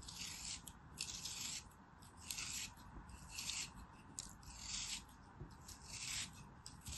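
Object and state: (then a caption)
Kinetic sand block being cut. A small molded block of beige kinetic sand, solid, is sliced and scraped with a black craft knife held by a hand with long white nails. Repeated soft, bright, gritty scraping strokes come in uneven bursts over a low background rumble.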